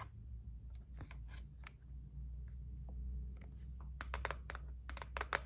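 Long nails tap on the top and edge of a white cardboard gift box lying on a table. Sharp, dry clicks that cut off almost instantly sit over a steady low hum, starting sparse and gathering into a quicker, louder run of taps near the end.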